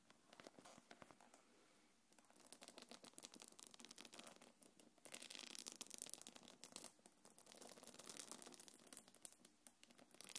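Long dark nails scratch and tap across the top of a small, hollow, quilted black leather-look belt bag with a gold chain, held on the palm. Quiet, dry, bright scratching and rapid clicking taps crackle almost continuously, with a brief lull near two seconds. The sound grows busier and louder from about the five-second mark.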